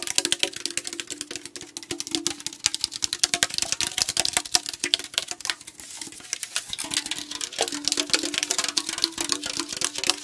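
A tall aluminum AriZona tea can, held horizontally, is tapped rapidly with fingertips and nails along its body. The taps come fast and dense as short, bright, clicky ticks with almost no ring, over a faint low hollow tone from the can.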